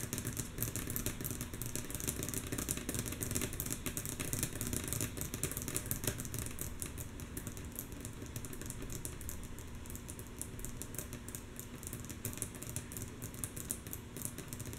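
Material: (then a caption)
Wood. Long natural nails of both hands tap rhythmically and mostly softly on a solid, flat, light wooden tabletop. A dense, steady stream of quick, bright clicks runs throughout over a low, constant hum.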